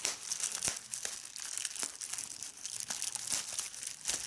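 A folded strip of clear plastic bubble wrap is held in one hand while the fingertips squeeze it and pop the bubbles. Sharp, bright pops stand out over a steady high crinkling, with a few louder snaps between the softer crackles.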